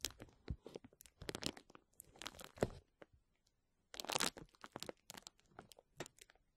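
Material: Plastic.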